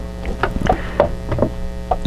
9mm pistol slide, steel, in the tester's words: just a little tiny rattle